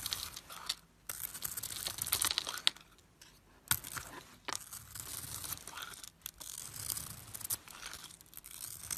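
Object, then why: Glitter bar soap shaved with a metal blade. A solid glittery silver bar soap with a white core is held in the hand and shaved with a metal blade, peeling off white flakes. Soft, bright scraping and crisp crinkling strokes come in bursts with short pauses, and occasional sharp clicks stand out.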